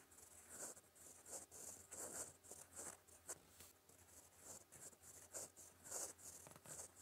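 A steel fountain pen nib writes in green ink on a flat, solid sheet of lined white paper, scratching across the surface. Quiet, bright, scratchy strokes come in short bursts with brief pauses between them, over a faint steady low hum.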